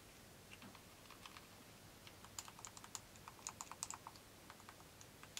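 A small hollow yellow plastic Nintendo Joy-Con controller, unwrapped and held in black-gloved hands, is handled as gloved fingertips press and click its buttons. A quick run of short, dry, bright clicks sounds much like typing on a keyboard. The clicks grow denser and louder midway, over a quiet background.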